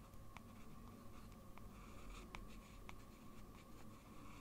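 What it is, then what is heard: Paper sheet. A blue fountain pen with a metal nib is drawn in small strokes across a large, flat sheet of white drawing paper on a desk, scratching the paper surface. Quiet, brief, bright scratchy ticks repeat irregularly over a steady low background hum.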